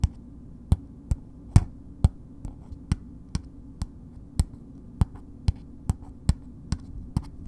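Long nails slowly tap a solid bar of soap wrapped in red paper, making sixteen short, dull taps with crisp bright clicks that die away almost instantly. The taps sit over a steady low hum, and most of the sound energy is in the low range.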